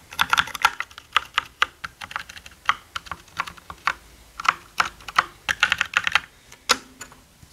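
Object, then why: Plastic mechanical keyboard. Both hands type with their fingertips on a black mechanical gaming keyboard with plastic keycaps. Some thirty quick, dry clacks come in an uneven rhythm, each bright and sharp with almost no ring and little low end.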